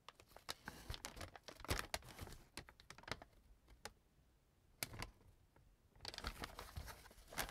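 An opened, empty brown kraft paper bag on a table is crumpled and handled by hand, giving dense bursts of dry, sharp crinkling with bright crackles. The rustling quiets to a near lull in the middle of the clip, then picks up again into busy crinkling toward the end.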